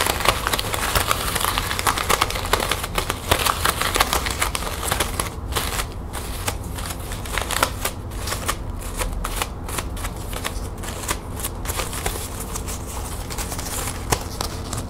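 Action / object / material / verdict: scrape / metallic plastic ribbon bow / plastic / none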